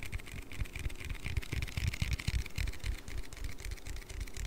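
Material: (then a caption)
Aluminium. An aluminium Red Bull energy-drink can is tapped and handled, producing rapid, irregular soft thumps at about four per second. The taps are deep, dull and short, with almost no ring, over a faint bright metallic shimmer.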